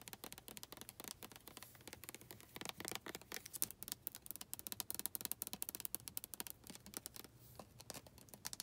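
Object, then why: Plastic lotion bottle. Long red nails tap and scratch along the body of a white plastic lotion bottle with a printed back label and barcode. A quiet, rapid stream of dry, bright clicks and scratchy rasps follows, each tick dying out almost instantly, with a soft low hum underneath.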